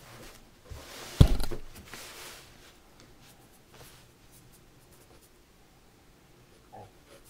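A mechanical pencil scratches and draws lines on white drawing paper in a spiral-bound sketchbook, held flat with one hand. A sharp, loud scratch comes early, followed by a rough stroke that fades, and then only faint, soft marks against near silence.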